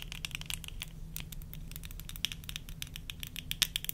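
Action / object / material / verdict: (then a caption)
tap / plastic eyeglasses / plastic / none. Long nails tap rapidly and irregularly on the lenses and frame of worn plastic tortoiseshell eyeglasses, making short, dry, bright clicks with a slight rattle of the frame. Each tap dies almost instantly over a faint, steady low hum.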